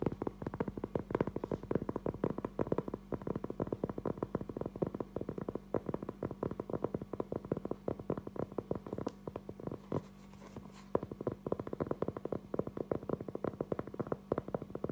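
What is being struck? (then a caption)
Round cork trivet. A round, flat, solid cork trivet about 20 cm across is held upright in both hands and tapped and scratched with fingertips and short nails. The result is a dense stream of quick, dry, muted taps with almost no ring, over a steady low hum. The taps briefly thin out around the ten-second mark, where a softer, brighter scratching comes through.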